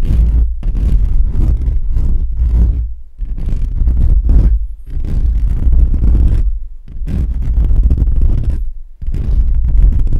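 Fingertips and short nails scratch and rub across the hollow metal mesh grille of a condenser microphone, producing a dense, boomy, low rumble of scraping. The rubbing comes in long continuous passes separated by brief pauses, with the sound almost entirely deep and muffled rather than bright.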